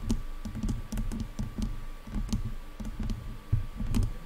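Long nails tap and scratch the sides of the black plastic headband of over-ear headphones. A quick run of soft, dull, low clicks mixes with light scratching, each tap dying out almost at once over a faint steady tone.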